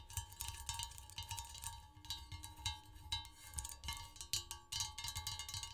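Long pointed acrylic nails tap rapidly and irregularly on an empty, large glazed green ceramic serving dish shaped like three holly leaves, which rests on a red cloth. Each tap gives a bright, high clicking tick with a very short ring and a faint low thump underneath.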